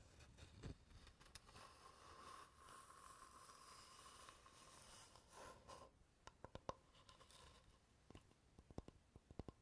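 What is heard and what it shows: Fingernails scratch and tap the face and edges of a light, solid wooden board held close to the mic. A steady, dry scratching fills the first six seconds, then gives way to short, sharp taps with quiet gaps between them.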